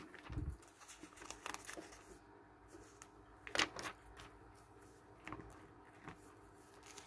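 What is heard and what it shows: Fingers turn and rub the thin pages of an open glossy paper magazine with book-list pages, lying on a wooden table. Quiet, bright paper rustles and soft crinkles come in short bursts, with a low thud near the start and a sharper crackling swish midway. The brushing fades to faint hiss between page movements.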